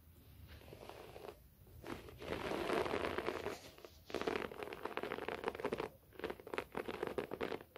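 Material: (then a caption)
Carpet fibre. Both hands scratch a short-pile beige carpet covering the floor, a flat soft surface, using fingertips and short natural nails. Bursts of dry, rasping scratches with a midrange hiss come and go, separated by brief quiet pauses.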